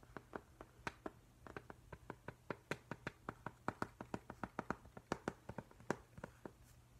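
Fingertips tap and trace at a slower pace over the flat glass pane of a framed octopus print. Around thirty short, dry, clicky taps sound one after another, each dying away almost instantly, with soft brushing between them. A faint low hum runs steadily underneath.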